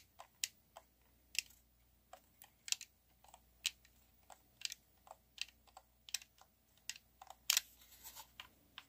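Fingertips and thumbs repeatedly press and click the colored face buttons and thumbsticks of a handheld black plastic Xbox One game controller, a hollow shell held in both hands. The result is a quiet, irregular run of sharp, dry, bright clicks, each dying out almost instantly, with no low-end thump.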